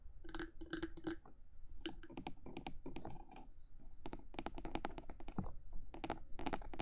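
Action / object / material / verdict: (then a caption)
tap / hard plastic microphone body / plastic / none. Both hands tap and scratch with long manicured nails on the top of the hard black plastic body of a mid-size 3Dio binaural microphone, held in place between its two silicone ears. Quick clicky taps and scratchy strokes come in dense bursts, each dying off almost at once over a soft low rumble.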